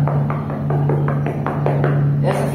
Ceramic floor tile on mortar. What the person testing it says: essa fileira rapaziada inteira tá fofa